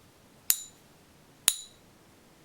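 A counterfeit, non-magnetic one-ounce Silver Eagle coin made of non-silver metal is pinged three times for a coin-ping app, each strike giving a bright, high, short-lived ring. The app matched its ring zero out of three times and flagged it as bad, and it is confirmed fake, weighing 24.96 g instead of the expected 31.1 g.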